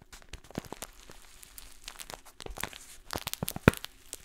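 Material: Paper.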